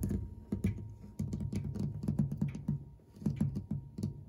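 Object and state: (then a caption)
Brass clock ornament tapped and scratched with nails. Fingertips and short nails quickly scratch and tap an ornate cast brass corner ornament and the flat brushed metal clock dial beside it, set in a wooden case. A rapid run of soft, short, low-heavy taps and scrapes with little ring, each dying away almost at once, with a faint steady tone underneath.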